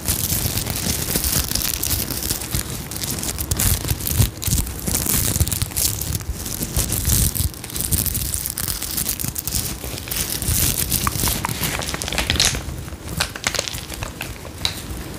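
Fingertips and long nails scratch and brush across a small, soft, hollow zippered pouch covered in iridescent flip sequins. The result is a dense, continuous crinkling and rasping texture with bright, hissy highs over a low, muffled rumble, swelling and easing in brief bursts for about fifteen seconds.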